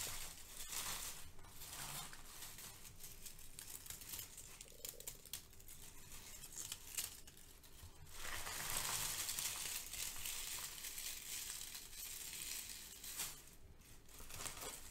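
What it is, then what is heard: Crinkled kraft paper shred. Fingertips and nails squeeze and rustle brown crinkle-cut kraft paper shred resting on a foam sheet. Quiet, bright crinkling and crackling continues throughout, growing denser and louder midway before easing back to soft rustles.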